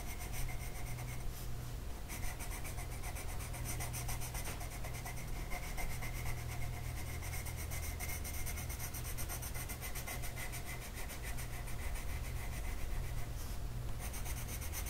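A green colored pencil tip is rubbed back and forth across a flat printed mandala coloring sheet on a table, held in place by one hand. It makes a steady, soft, scratchy rubbing over a constant low hum that fills most of the sound, and the strokes blend into one continuous texture at an even level throughout.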